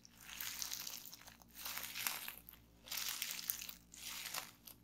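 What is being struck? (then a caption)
Plastic bubble wrap sheet. Fingers grip, twist and pinch a sheet of clear plastic bubble wrap to pop its bubbles. Four bursts of bright, dense crinkling and crackling swell and fade, with sharp little pops scattered through them. The sound sits almost entirely in the high range, with almost no low end.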